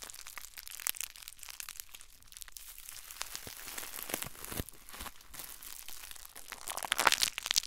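A crumpled ball of clear plastic bubble wrap is held in one hand and squeezed with the fingers and thumb, giving a steady, dense crinkling with quick crackles and almost no low end. The sound stays bright and dry, and a louder burst of sharp crackling comes near the end.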